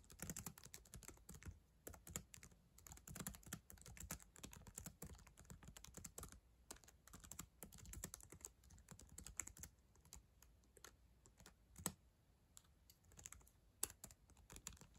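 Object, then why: Plastic laptop keyboard keys tapped by long nails. Long acrylic nails type on the plastic keys of a black ThinkPad laptop keyboard, making a fast, continuous stream of short, sharp clicks and taps. Each tap is brief, with a dry body and a bright, high click.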